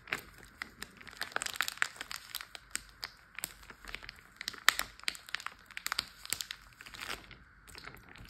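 A large clear plastic Ziploc bag full of water, partly lifted, is pressed, tapped and crinkled with fingertips and nails. The result is a steady run of crisp, bright crinkles and sharp, dry clicks with almost no low end and no ring. The sounds ease into a quieter, softer stretch near the end.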